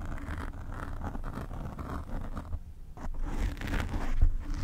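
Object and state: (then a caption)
Foam microphone windscreen being scratched. Long nails of both hands scratch from above on the black foam windscreen covering a desk microphone. The result is a dense, muffled scraping and rustling with a heavy low rumble, running continuously and swelling louder toward the end.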